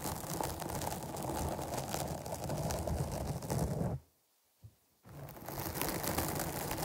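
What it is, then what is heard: Foam microphone windscreen scratched. Long nails scratch the top and sides of a soft, porous black foam windscreen on a microphone, producing a dense, continuous rustling scrape that is heaviest in the low end with a faint bright hiss. Around four seconds in, the sound cuts to near silence for about a second, broken by one brief scratch, then the scratching resumes.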